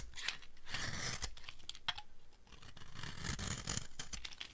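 The edge of a solid, dry green soap bar is scraped and cut with a utility blade, and fine dry shavings come off. A continuous rough, crackly scraping rasps in bursts with bright highs and a low rumble, punctuated by a few sharp clicks as the blade catches.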